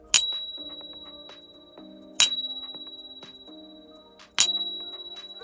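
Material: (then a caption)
Silver. A suspect silver Libertad coin is ping-tested with a Pocket Pinger, giving three bright, high-pitched strikes that each ring out in a long, bell-like tone, with softer background music underneath. The Pocket Pinger app verifies it as proper silver even though a Sigma Metalytics machine had flagged it.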